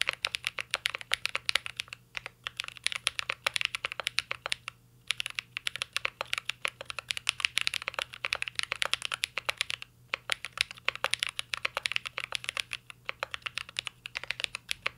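A mint-green Cyberboard R3 mechanical keyboard with a metal case and plastic keycaps is typed on continuously with the fingertips. It produces a rapid stream of bright, sharp key clicks that stop almost instantly, with brief pauses near 2, 5 and 10 seconds.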